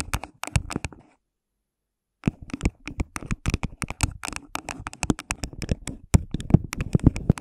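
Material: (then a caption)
Plastic. Both hands use long nails to rapidly tap and scratch the walls of a hollow, empty, translucent plastic cup placed over a microphone head. Dense, sharp clicks and scratchy rasps have a deep, muffled hollow body and bright nail ticks on top, with almost no ring. A brief burst opens the clip, then about a second of silence, then a steady run of quick taps and scratches to the end.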